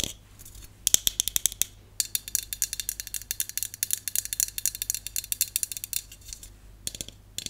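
A hollow aluminum Dove aerosol dry shampoo can, held upright and then tilted, is tapped rapidly with long colored nails. The taps are about fifty quick, bright, dry clicks with almost no ring, starting in short bursts, then a brief pause, then a dense steady run.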